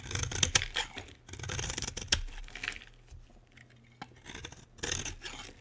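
A utility knife blade shaves a solid green bar of soap, peeling off thin curls. Bright, dry scraping strokes come in bursts separated by short quiet gaps, with a single sharp click partway through and a faint low hum underneath.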